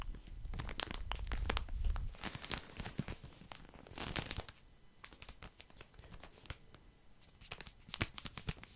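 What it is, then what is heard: Plastic bag of cotton pads. Fingertips tap and scratch a full, soft plastic package of cotton pads, making dense crinkly rustles and sharp tearing-like crackles. Many quick, irregular taps come in clusters, heaviest near the start and again around four and eight seconds, with a low rumble under the first two seconds.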